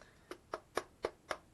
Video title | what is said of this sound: UNBOXING KYOSHO PSYCHO CRUISER DE ZIGGY59 | ça résonne non ça fait cheap